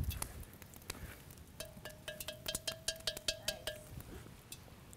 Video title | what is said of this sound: Common Ground 813 - Grant Goltz Blackduck Pottery | it's tinging. Hear that sound?